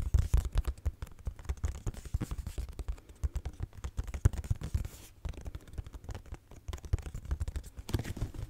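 Long nails scratch and tap across a pink cardboard tissue box with a cloud print, a hollow cube. The result is a dense, rapid run of dry scratches and soft, dull taps that die away almost instantly, with most of the sound sitting in a low, hollow thump.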